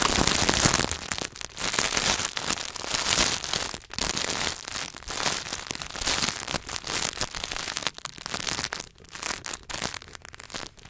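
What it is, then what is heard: Wrapped chocolate bar. Fingertips and nails rapidly tap and scratch across a solid Hershey's milk chocolate bar in its paper and foil wrapper. The result is a dense, bright, crackling rustle with irregular bursts and brief dips throughout.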